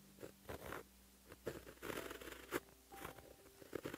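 A white gel pen held in the fingertips writes Korean letters on a flat sheet of black lined paper, its tip scratching across the surface. The scratching comes in short, dry bursts with soft rasping strokes and a few sharper ticks between quiet pauses.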